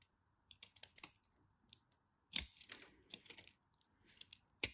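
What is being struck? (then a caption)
Chunk of soap cut with a knife tip. A knife tip cuts crumbs from a small, crumbly chunk of dry cream-colored soap. Crisp, bright crackling clicks and scrapes come in irregular bursts over a quiet background, with two louder crunches standing out.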